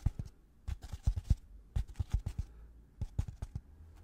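A white polystyrene foam packaging insert with two recesses, held upright, is tapped and scratched with gloved fingertips. Quick, dull, low thuds come in uneven clusters with soft scratchy rustles between them, and each tap dies away almost instantly.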